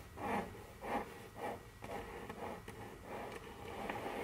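Very long curved fingernails scratch and tap on a large, solid, dark brown glossy wooden tabletop. Soft rhythmic rasping strokes swell about every half second, then blend into steadier scratching with faint, sharp clicks from the nail tips.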